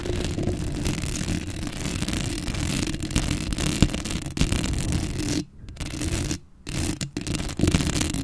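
Long acrylic nails scratch and rub the black metal mesh grille of a Blue Yeti microphone up close. The result is a dense, continuous scraping rustle with heavy low-end rumble and a bright hiss on top. It breaks off in a few brief pauses near the end.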